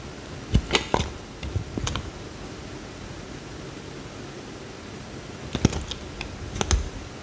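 A utility knife blade cuts into a small, solid, peach-orange bar of soap, peeling slices off. Crisp, dry clicks and crackles come in two bursts, one near the start and one near the end, with a quiet low hiss between them.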